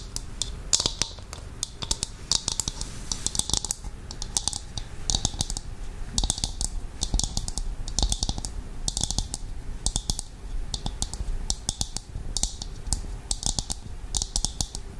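A hollow, empty, dark brown dried coconut shell half, hand-sized and held in the hands, is tapped and scratched with long acrylic nails. Quick, dry, clicky taps come in rapid runs, broken up by short bursts of bright, hissy scratching. Each tap dies away almost at once.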